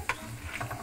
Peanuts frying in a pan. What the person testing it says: bunyinya kayak gini nih kalau udah mau garing ya heboh